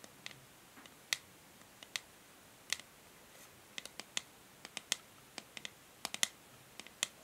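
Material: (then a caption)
Plastic. Long nails tap rhythmically on the hollow grey matte plastic back of a paddle hair brush. About twenty short, sharp, bright clicks ring out and die away almost at once, with a faint hiss between them.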